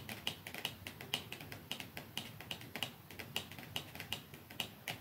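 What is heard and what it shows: Long fingernails tap rapidly on a small, narrow, dark cardboard mascara box lying flat on top, next to a second, untouched box. The taps are crisp, bright clicks centred around 3 kHz that die away almost instantly, over a soft hiss.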